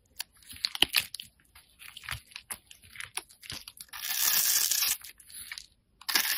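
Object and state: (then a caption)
Bar soap being cut. A solid orange-yellow slab of bar soap is held in the fingers, scored into a grid and shaved into small cubes with a metal utility knife blade. Sharp, dry crunches and scrapes come in quick bursts, bright and high with almost no low end. Two longer hissing shaves run near the end.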